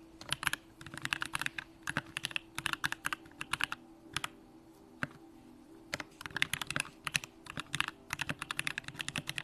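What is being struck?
Mechanical keyboard, aluminum case with plastic keycaps.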